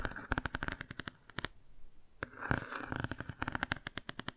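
Long nails quickly tap and scratch the car page of a cardboard board book held at an angle and partly closed. Rapid bursts of dry, short clicks come in quick runs, with a softer stretch of scratching in the middle before the fast tapping resumes.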